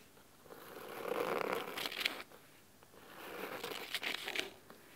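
Fingernails of both hands scratch the fabric cover of a thick navy cloth-covered hardcover book resting on a wooden table. Two swelling bursts of dry, crisp scratching rise and fade, with a bright rasp over a softer mid-range rustle and quick, sharper flicks near the end of each burst.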